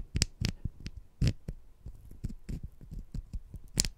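Two small, solid sugar-coated jelly fruit-slice candies are held in the fingertips, and one is scratched against the other. Soft, gritty scratching and rubbing sounds come with short, dull low thumps and occasional bright crackly bursts of sugar grit.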